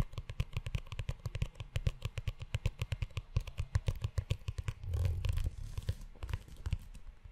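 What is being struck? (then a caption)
Leather-bound notebook cover. Fingertips tap and scratch the cover and spine of a brown, book-sized leather-bound notebook held close. A rapid run of soft, low, dull taps with a faint bright edge gives way briefly to a muffled rubbing scrape near the middle, then the tapping resumes.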